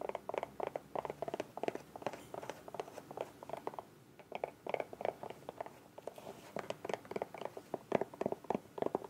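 Long nails tap and scratch along the body of a small, hollow, bright green soft plastic squeeze bottle with a white cap. The result is a quick, uneven patter of dry, hollow clicks centred in the mid range, each dying away almost instantly, with faint scratchy rasps between them. The tapping briefly thins out around the middle of the clip before picking up again.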